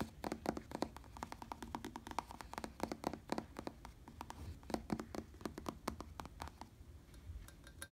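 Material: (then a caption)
Synthetic leather. Fingertips tap and scratch across a black padded synthetic leather bicycle seat, making a dense run of short, dry clicks with brief scratchy swishes. Each tap stops almost at once, carrying a faint low body near 215 Hz under bright, crisp tops.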